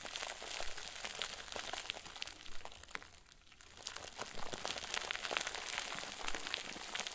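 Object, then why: Stuffed plastic bag crinkle ball. A round white plastic bag, tied and stuffed into a crinkle ball, is squeezed hard, crushed and crumpled by both hands. Dense, bright crinkling and crackling runs throughout, easing briefly just past the three-second mark before picking up again.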